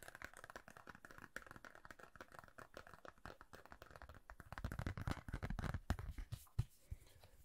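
A thin, rigid red plastic referee card is held in both hands near the face while fingertips and nails scratch and tap it. Soft, rapid, irregular scratching and crinkly ticking run throughout, then grow louder and fuller around the middle of the clip, with a sharp tap near the end before it quiets again.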